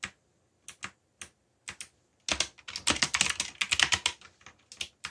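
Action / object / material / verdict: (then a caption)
tap / plastic mechanical keyboard / plastic / none. Fingertips type quickly on the plastic keycaps of a backlit black plastic mechanical keyboard. A few separate sharp clicks give way to a dense, rapid run of bright clacking keystrokes, then thin out again. Each click is short and dry with almost no low end.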